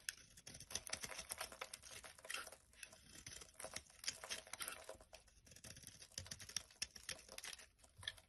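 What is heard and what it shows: A blade carves flakes from the end of a solid, rectangular, pale-yellow bar of soap held in the hand. The result is a quiet, dense stream of crisp, bright scraping and crackling ticks with almost no low end, each one dying away almost instantly.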